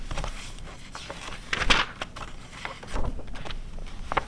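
A glossy paper car magazine from 2009 resting on white fur has its pages flipped and is then closed, and long red nails tap and scratch its glossy front cover. The clip is made of soft papery crinkles and rustles with brief sharp flicks, and the loudest swish sits just past the middle.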